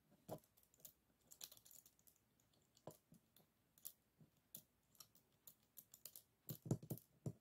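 Fingertips tap and scratch along the closed ribs of a folded bamboo hand fan with bamboo guard sticks, resting on a table. The result is a quiet, uneven run of short, dry clicks and soft scrapes, each dying away almost instantly, with the firmest taps clustered near the end.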